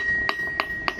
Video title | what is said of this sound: Glen GS Tongs Live Stream - go to 2:00 for sound to start | when he's tapping on the anvil you can hear the ring